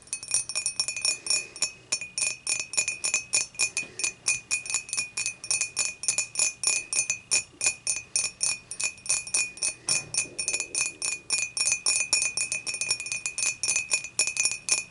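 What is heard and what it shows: Long matte nails on both hands tap rapidly and continuously against the sides of an empty, upright, clear dimpled glass beer mug. Each tap gives a bright, high, glassy clink with a short ring, and the clinks blend into a steady, tinkling patter throughout.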